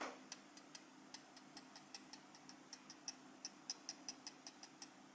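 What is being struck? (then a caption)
Small gold-tone metal pin badge tapped with a steel knife tip. The back of a small, solid gold-coloured metal pin badge with a pin clasp, held in the fingers, is tapped and scratched with the tip of a steel cheese knife. About 23 light, bright metallic ticks sound in an uneven rhythm, each dying away almost instantly over a faint steady low hum.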